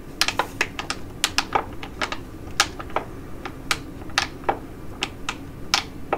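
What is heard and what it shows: Long acrylic nails tap and scratch the crinkly surface of a Neogen Super Hydra Aqua Capsule Mask, a flat, thin plastic and foil sachet holding a sheet mask, held in both hands. The result is a quick, irregular series of sharp, bright clicks and short crinkles, each dying away almost instantly over a faint steady background.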